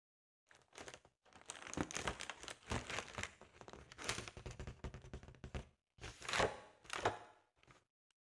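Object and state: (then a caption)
Foil balloon, tapped and scratched. Long nails tap and scratch an inflated, round, Halloween-print metallic foil (mylar) balloon that is held up. The result is bursts of bright, crinkly scratching and dry tapping, separated by brief pauses.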